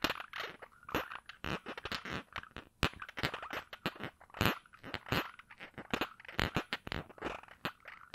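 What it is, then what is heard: Glass perfume bottle cap being twisted and scratched. Fingers twist and rub at the round cap of a small glass perfume bottle held in one hand. The result is a dense run of quick, dry crackling scratches and clicks with bright, hissy edges that stop dead between bursts.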